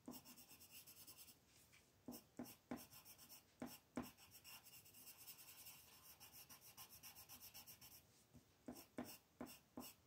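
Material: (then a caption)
Paper. A green colored pencil is rubbed in quick, rhythmic strokes to shade a flat white paper mandala sheet lying on a table, with the other hand resting on the paper. The result is a soft, bright, scratchy hiss that pulses with each stroke, broken now and then by sharper, louder scrapes.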